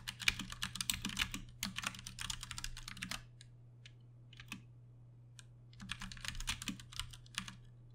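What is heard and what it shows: Fingertips of both hands tap on a Ducky One 2 Mini, a compact 60% RGB-backlit mechanical keyboard with plastic keycaps and Cherry MX Brown switches, resting on a desk. Fast bursts of bright, clacky keystrokes run for about three seconds, give way to a few isolated clicks, then resume near the end. A steady low hum sits underneath throughout.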